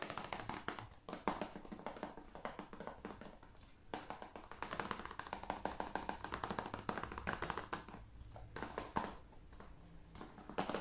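A hand-sized, hollow blue plastic PS5 game case is tapped rapidly with fingertips and nails on its cover and along the spine edge. The taps are light, dry and clicky, with a hollow plastic tone that dies away almost instantly. They form a dense, steady stream throughout.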